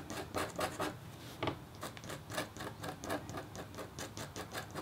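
A red-handled, metal-tipped stylus scratches rapidly across a flat, black-coated copper foil scratch art board. The result is a quiet run of quick, bright, rasping strokes that rise and fall in short bursts, each dying away dry with no ring.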